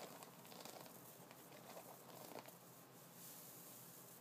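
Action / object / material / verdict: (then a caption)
scrape / wooden brush with bristles / wood, bristle / none. Fingertips of both hands scratch the white bristles and wooden nubs of an upright wooden brush. The result is a quiet, continuous crinkly scratching and rustling with a soft, hissy high end.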